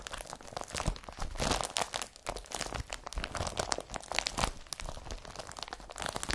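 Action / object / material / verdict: scrape / woven polypropylene carrier bag / polypropylene / none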